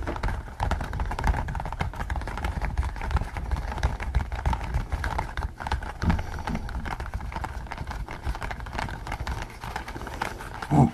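Fingers rub the ears of a pink latex pig mask worn on the head, then scratch and tap the top of it. The sound is a dense, steady stream of soft, muffled rubbing, scratching and tapping, mostly low and dull with a rubbery squish. It rises to a louder tap right at the end.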